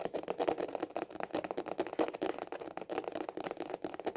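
A small, hollow hard-shell glasses case with a white printed cover is held horizontally in both hands and tapped fast with the fingertips and short nails. About twenty quick, hollow, clicky taps fall in an uneven rattling rhythm, with the tone centred in the mid range and each tap dying away almost at once.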